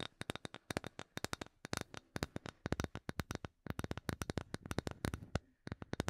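Long nails tap and scratch on a solid, palm-sized light bamboo wood block. Quick runs of dry, sharp clicks fall in uneven bursts, each dying away almost instantly. Faint scratchy texture sits between the taps, with a short pause before the last few.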